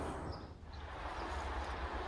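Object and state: Nothing is struck.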